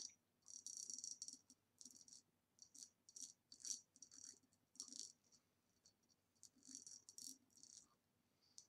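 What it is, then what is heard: Glass vase tapped with fingernails. A hollow ribbed green glass vase standing upside down is tapped with long nails on its base and sides. Quiet bursts of quick, bright clicking taps come in irregular flurries, each carrying a thin high glassy ring that dies away almost at once.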